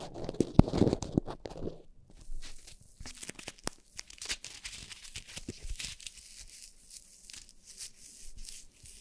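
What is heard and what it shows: Long painted nails scratch and tap on top of two black foam windscreens fitted to upright microphones. An opening burst of louder, bassy rustling gives way to dense, soft, close crackling and scratching with quick dry taps that stop instantly.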